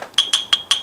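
The stainless steel rim of a black and brown MagicYoyo Z01 Focus yoyo is knocked on close to a microphone. A faint knock is followed by four bright metallic taps, each giving a short, high ring around 3.3 kHz. The ringing confirms the rim is stainless steel.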